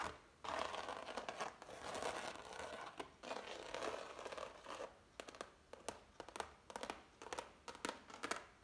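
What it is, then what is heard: Impasto oil painting on canvas, scratched. Fingertips and nails scratch and rub along the ridges of thick, textured impasto oil paint on a framed canvas. For the first five seconds there is a dense, continuous papery rasping. It then breaks into short, sharp scratch strokes separated by quiet gaps, bright and crisp with almost no low end.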